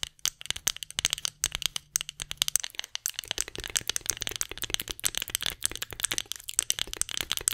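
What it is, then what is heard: Wooden spoon tapped and scratched with nails. Long nails rapidly tap and scratch a solid light-wood spoon held horizontally, making a dense stream of crisp, bright clicks and dry scrapes. Each tick is very short with almost no ring, and the sound sits mostly in the high range.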